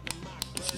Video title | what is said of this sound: Review M1911 A1 KWC Gbb [FR] | Il n'y a pas de jeu dans l'arme. Vous entendez rien de suspect. C'est ça que vous entendez quand je le secoue. C'est tout à fait normal.